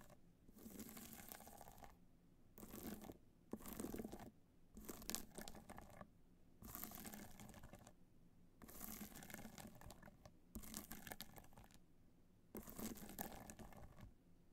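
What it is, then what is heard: Rhinestone-covered hard-shell clutch. Long nails tap and scratch the top of a hollow black hard-shell clutch covered in multicolor rhinestones, resting on white fur. Quiet, dry scratching and crunchy rasping come in bursts of a second or two, split by brief pauses. Occasional sharper taps ring against the hollow shell.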